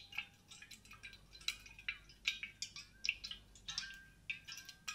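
Long dark-painted nails tap and scratch a large grey, matte-coated insulated stainless steel water bottle with a silver cap, hollow and held close to the mic. Quiet, bright clicking taps come in an irregular run, mixed with soft scratchy swipes. Each tap has a brief metallic ping near 2.7 kHz that dies almost at once.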